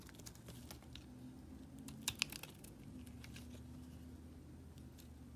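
A palm-sized solid white bar of soap is held in the hand and carved or scraped with a small metal blade, and the soap flakes fall onto a pile. Quiet, crisp scratching and ticking continues throughout over a low steady hum, with two sharper, brighter snaps standing out near the middle.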